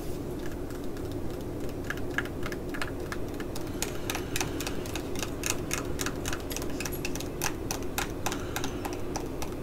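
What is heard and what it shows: Long nails tap and scratch a small, full, flat green laminated plastic-foil scalp-pack pouch held in the hand. The result is an irregular run of quick, bright, crinkly clicks over a steady low background hum.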